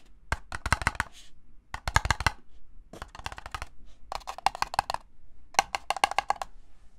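Fingertips and nails tap the side wall and base of a small, empty, hollow red-and-white disposable paper cup held in both hands. The taps come in quick bursts of dry, hollow clicks with a low thump underneath. Each click dies away almost instantly, with its brightest ring around 1 kHz.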